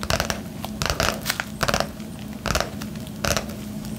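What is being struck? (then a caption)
Padded paper and plastic bubble mailer. A medium yellow padded paper and plastic bubble mailer with a plastic wrap layer, hollow and flat, is held in both hands and scratched and tapped with long painted nails. Short, irregular bursts of bright crinkling and scratching come in uneven clusters over a faint steady low hum, with each sound dying away almost at once.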